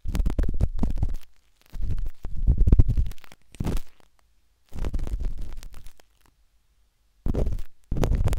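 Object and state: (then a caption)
Silicone ear of a binaural microphone, scratched. The metal tip of a wooden-handled dot stick scratches inside the ear canal of a pale pink, soft, solid silicone ear on a binaural microphone. It makes dense, muffled, rumbling scrapes that are almost entirely deep and low. The scrapes come in bursts separated by short silent pauses.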